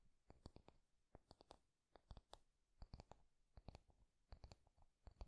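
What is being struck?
Wooden paddle hairbrush.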